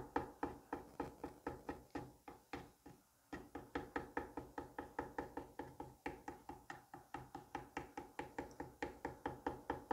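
A small metal curette tip repeatedly taps and cuts into a palm-sized solid dome of green kinetic sand resting on a white plate. About 44 short, crisp, mid-pitched ticks come in a steady, quick rhythm, each dying away almost at once, with a brief pause near the three-second mark.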